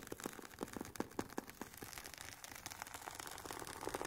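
Long painted nails scratch the woven nylon fabric cover and sides of a hollow, oval, semi-rigid hard carry case for Sony WH-1000XM4 headphones. The result is a quiet, fast, irregular run of dry, short scratching strokes with a bright, hissy texture and faint low hollow tones that die away almost at once.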